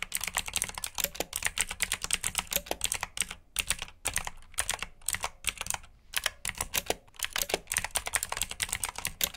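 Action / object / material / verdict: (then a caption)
tap / plastic mechanical keyboard / plastic / none. Fingertips with short nails type on a full-size black plastic mechanical keyboard with RGB backlit keycaps, clicky blue switches and hollow key housings. About 47 sharp, bright clicks come in quick, uneven bursts with brief pauses, each dying away almost instantly with a faint low thud beneath.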